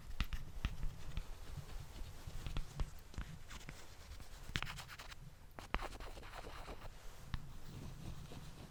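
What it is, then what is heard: Wooden balls. Wooden balls are tapped and rubbed close to a microphone, moving from its back to its front in stereo. The clip is mostly low rumble and scratchy rubbing, with sharp clicks of taps scattered throughout, each dying out almost instantly.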